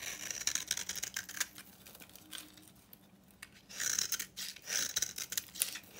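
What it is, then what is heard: Dry bar soap. A utility knife cuts and shaves an old, super dry, solid bar of soap painted a copper-orange color, held in the hand, so that dry crumbs and powder fall away. Bright, crisp scraping and crackling bursts come in two louder stretches, with a quieter, thinner scrape between them.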